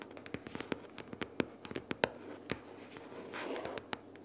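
Long nails rapidly tap and scratch the top cover of a closed pink cardboard sticky-notes box lying flat. A quick, uneven series of sharp, dry clicks rings out, with a brief stretch of softer, continuous scratching near the end.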